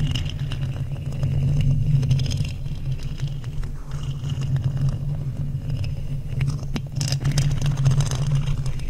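Two thin wooden skewer sticks, held in long-nailed hands, scratch and rub the hollow black metal mesh grille of a large microphone. The result is a steady, dense low rumble with a hum around 129 Hz, overlaid with faint scraping and crackling ticks.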